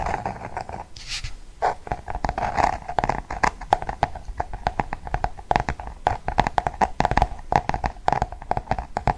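A large closed paperback floral "Dessins" book with a glossy cardboard cover is held in both hands and tapped and scratched with fingernails. Quick, sharp taps come in dense irregular bursts with short scratchy strokes between them. The sound is dry, centered on a steady mid-range tone around 800 Hz.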